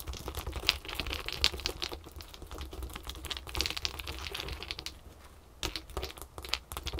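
Long nails on both hands tap fast and scratch on small solid ice cubes resting on a terry towel. The result is a dense run of bright, sharp clicks and light scraping that die away almost instantly, over a steady low rumble.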